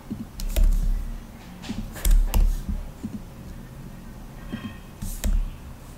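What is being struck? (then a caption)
Plastic laptop keyboard keys. Fingertips tap the black plastic keys of a rose-gold laptop in short, irregular bursts, each a dull low thump with a sharp bright click, over a steady soft hiss. The hands lift briefly at the end.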